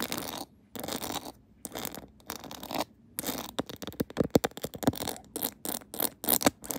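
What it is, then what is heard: Rhinestone-decorated plastic phone case. Long acrylic nails scratch the back of a mounted phone in a clear plastic case decorated with pearls and rhinestones, making a few broad, hissy scraping strokes with short pauses between them. The nails then tap the case rapidly, giving a quick string of sharp, clicky ticks that die away almost instantly.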